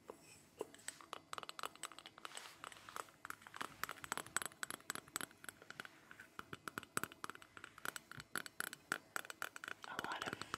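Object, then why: Hand-painted ceramic jewelry box. Rapid, light tapping on a hand-painted ceramic jewelry box, a Mexican craft item, produces a steady stream of short, bright, glassy clinks. Each tap dies almost instantly, and the sound has almost no low end. The taps come at an uneven rhythm over a quiet background, with a slightly denser, scratchier patch near the end.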